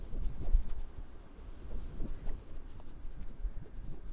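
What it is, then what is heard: Metal microphone grille being scratched. A person scratches and taps the small metal X/Y microphone capsule and grille of a handheld recorder with fingertips and nails. The result is an irregular run of close, muffled scratching and thumping, heavy in low rumble with a brighter hiss above it.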